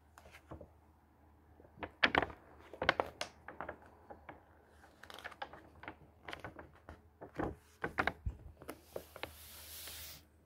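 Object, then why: Paper pages of a thick hardcover book. A hand strokes the paper pages of a thick hardcover book, flips several pages over, and then smooths the page flat again. Soft papery brushing alternates with sharp, crisp flicks and rustles, ending in a longer, bright, airy sweep across the paper over a quiet low hum.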